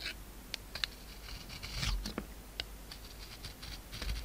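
A utility knife carves the gold coating off a hand-held solid oval soap bar with an embossed surface and a pink interior. Short, bright scraping and crisp cutting clicks come in an uneven series over a low, steady background rumble. Each cut stops dead with no ring.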